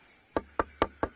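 Four quick knocks on a more solid side of a termite-eaten tree trunk give short, dull wooden thuds that die away almost at once. This side sounds a bit more solid, though the wood inside can be completely eaten by termites even where the outside does not look too bad.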